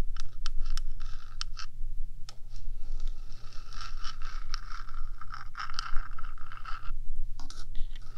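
Long nails scrape and scratch along the top of a 3Dio microphone's hollow metal box, first with both hands and then with one. The sound is a dense, continuous metallic scratching with a bright ringing edge around 1.2 kHz, interrupted by brief sharp strokes, over a steady low hum.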